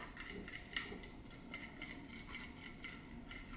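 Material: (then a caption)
Metal. An MSR DragonFly white gas stove is shaken up and down, making the small metal shaker needle inside its jet slide back and forth. This produces 11 light, bright metallic ticks with very short ring, centred around 1.9 kHz, over a quiet background. The sliding needle is working as intended, breaking carbon out of the jet to keep it clean.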